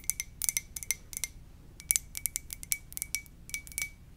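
Long nails tap quickly and repeatedly on the glazed body of a hollow red and white ceramic mug shaped like a Poke Ball. The taps come in irregular bursts of bright, clicky hits, each with a faint high ring that dies away almost instantly.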